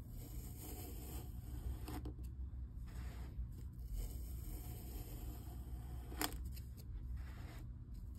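A white plastic scraper cuts and scrapes slices off the side of a solid purple kinetic sand cylinder held in one hand, and the sand crumbles off in sheets. Soft, gritty scraping and brief cutting rasps sit over a steady low hum, with one sharper scrape near the end.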